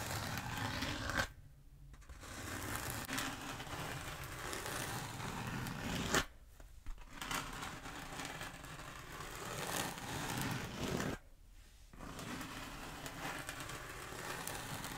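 Long acrylic nails slowly scratch a long black textured foam roller held diagonally. The result is a steady, dry, broadband rasping scrape with a crinkly, tearing texture and no ring. It comes in long sustained passes, broken by three brief pauses of near-silence.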